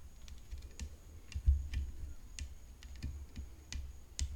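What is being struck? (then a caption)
Tennis racket frame. Long fingernails tap continuously on the frame of a tennis racket. The taps come as a quick, irregular run of crisp, bright clicks, about a dozen, each dying out almost at once over a low, steady rumble.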